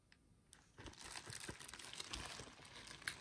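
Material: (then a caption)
Plastic. A medium-size black padded plastic Scentbird bubble mailer, hollow and apparently still sealed with its contents inside, is held in both hands, gripped by the fingertips, and bent and crinkled. After a quiet start with a faint tick, a dense, bright crinkling begins just under a second in and continues to the end. A sharp crackle comes near the close.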